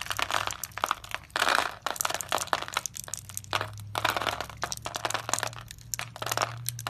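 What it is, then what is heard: Dry soap bar being cut. A utility knife blade scrapes through the pre-scored grid of a solid, palm-sized, blue-and-white striped dry soap bar held in the hand, breaking off small cubes. Dense, dry crunching and crackling snaps come in rapid bursts with a bright, gritty texture and almost no ring, over a faint steady low hum.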